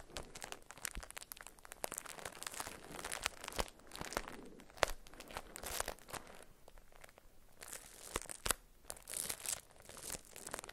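A small solid soap bar in a paper wrapper with a round label is held, tapped and scratched with long acrylic nails. Dry paper crinkles and bright scratching run throughout, broken by sharp, quick taps that stop without ringing.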